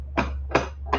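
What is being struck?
Metal mounting bracket of a solar light.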